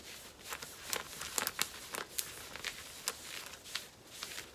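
Long nails scratch and rub the surface of worn black cotton denim jeans at the hip, making a dry, sanding-like rasp. About a dozen short, bright scrapes rise above a quiet, steady hiss of rubbing, each one dying away almost instantly.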